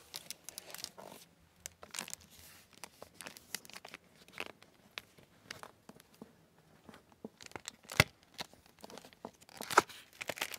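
Dozens of short, dry crackles come in irregular bursts, with sharper snaps near the eighth and tenth seconds. It is a hardcover book whose dust jacket is sheathed in plastic. The thin film buckles and snaps under the fingers, giving a high, papery crinkle with no ring.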